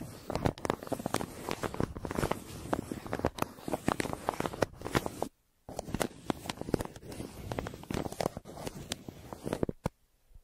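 A yellow pencil tip scratches across a crumpled brown kraft paper mailer on a table, near its printed logo. Dense, crackly scratching and crinkling comes in fast, sharp bursts. The sound stops briefly in the middle and again near the end.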